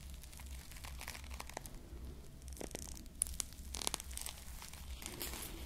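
A small foam squishy ice cream bar covered in plastic bead sprinkles is held close to the mic while long nails scratch the beads and fingers squeeze the foam. Bright crinkly scratches and sharp little clicks sit over a steady low hum. A few of the clicks are louder than the rest.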